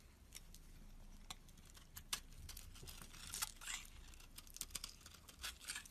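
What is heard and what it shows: A solid cream bar of soap held in the palm as a flat metal blade scrapes long shavings from its face. Quiet, dry, crisp scraping and crackling with many sharp, bright clicks and crunches over a low background hum.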